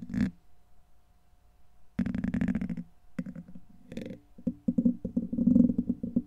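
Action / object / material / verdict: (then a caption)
scrape / steel wire-mesh microphone grille / steel mesh / none. A black plastic pen-like tool scrapes and scratches across the hollow, rounded steel wire-mesh head of a large condenser microphone. A brief bright scrape is followed by a dense, sustained rasp, then a run of quick, rhythmic scratching strokes. The strokes build in intensity, and the close-up sound is boomy and gritty with some brief bright edges.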